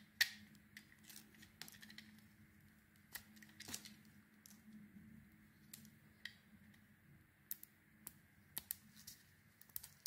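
A solid oval soap bar, pale green outside with a cream core and green glitter, is held in the palm and carved with a metal blade. Quiet, crisp scraping and shaving sounds come as a string of short, bright ticks and cuts with a faint steady tone near 1.9 kHz. A low hum sits underneath.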